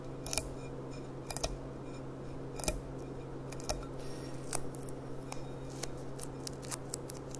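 A clear, empty glass goblet with a gold rim is held on its side while long dark nails tap rapidly on its hollow bowl. The taps are sharp, bright clicks with a very short ring, spread unevenly across the clip over a steady low hum.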